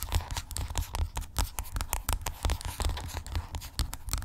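Long acrylic nails scratch and tap along a hollow white plastic skincare tube lying flat. The result is a rapid, uneven stream of sharp clicks and scratchy rasps. Each hit has a hollow low thump underneath and a bright, dry edge that dies away almost instantly.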